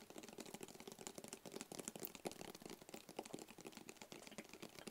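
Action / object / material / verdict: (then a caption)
tap / small rigid cardboard box / cardboard / none. A small, hollow, rigid black cardboard gift box is held close to the microphone and tapped with fingertips and short nails. The result is a quick, steady patter of dry, hollow taps with a mid-range body and bright clicky edges, each dying away almost instantly.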